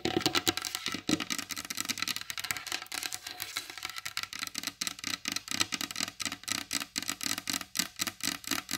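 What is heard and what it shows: Long blue acrylic nails on both hands rapidly tap the glossy varnished top of a large solid wooden table. The result is a dense stream of short, bright, clicky taps with almost no low end or ring, starting as a blur and settling into a quick, distinct rhythm.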